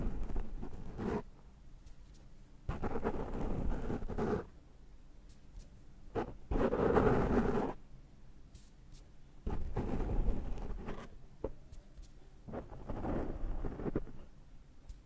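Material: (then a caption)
Foam. Fingertips pinch and rub the top of a rounded black foam microphone windscreen held in hand, producing close, scratchy rustling and crackling bursts. The sound is heavy in the lows, with quiet gaps between the bursts.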